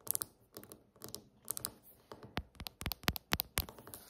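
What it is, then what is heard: Granite countertop. Long acrylic nail tips tap rapidly with both hands on a large, solid, polished granite countertop. Irregular bursts of sharp, clicky taps come in quick clusters, each a bright tick with a brief low knock and almost no ring, sounding much like typing on a keyboard.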